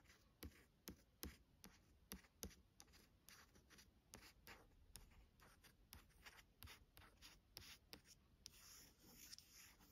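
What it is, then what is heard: Glossy hardcover book scratched with nails. Rapid bursts of fingernail scratching trace over a smooth, coated book cover, each stroke a short, hissy rasp with a few sharper ticks. The sound dies instantly, giving a close, dry texture typical of stiff board under a glossy finish.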